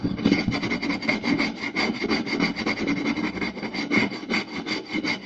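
Fingertips and short nails quickly scratch, rub and tap the surface of a round, solid wooden plate. The result is a continuous, busy scraping texture with a faint low-mid tone and bright, high-end rasp, marked by rapid taps that pulse through the whole clip.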